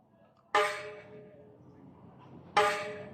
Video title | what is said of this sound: Maingay na HUBS magkaiba tunog - HASSNS PRO 7 HUB #tunogmayaman | Ito yung tunog ng rayos na stainless.